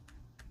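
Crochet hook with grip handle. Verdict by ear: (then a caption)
Soft. Two soft, dull taps are made on the soft-grip handles of a set of aluminum crochet hooks. Each tap is a short, muted knock with a faint bright click that fades quickly. The dull sound shows the handles are not hard plastic but a softer material, which is comfortable for hard grippers.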